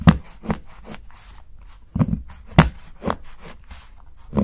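A steel kitchen knife repeatedly chops thin slivers from the edge of a solid dark chocolate bar held by fingertips. Six short, crisp cracks stand apart, each with a low, dull snap and brief crumbly scraping between them.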